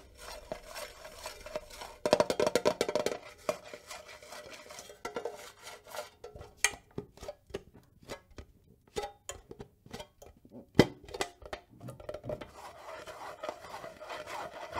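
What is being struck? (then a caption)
Small metal tin box. A small, hollow square metal tin box with a printed photo design is held in the hand and scratched and tapped with long nails. The result is a stream of light, crisp metallic clicks and ticks, with scratchy rasps over a faint ringing tone, and a few sharper taps standing out.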